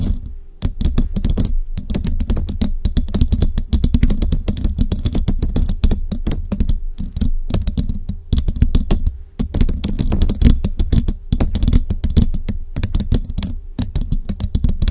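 Long jeweled nails tap quickly on a hollow metal mesh microphone head and scratch it with both hands. Rapid, dense, dull clicks with a heavy low thump and almost no ring run steadily for the whole clip, with a few brief pauses.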